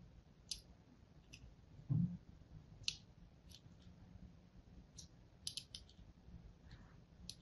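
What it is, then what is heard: Soap bar being scored. A thin blade tip scores lines into the face of a solid blue and white striped soap bar held in the fingers. About nine short, bright scratchy clicks are heard over a steady low hum, with a duller, louder thump near the two-second mark.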